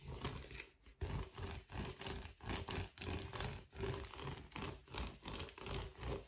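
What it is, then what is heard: Metallic foil bubble mailer. A blue metallic foil bubble mailer is held and then laid flat on a table while fingertips scratch and tap its bubbled surface. A steady run of soft, uneven crinkling scratches and muffled taps comes in quick bursts, with a low thumpy body and a bright crackling edge.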